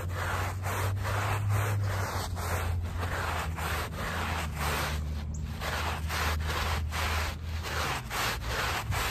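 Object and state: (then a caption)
Woven fabric rug backing being scrubbed. A handheld plastic bristle brush scrubs the back side of a small, wet, soapy woven fabric rug lying on pavement in long, repeated strokes. Each stroke makes a steady, coarse, rubbing swish, with a constant low hum underneath throughout.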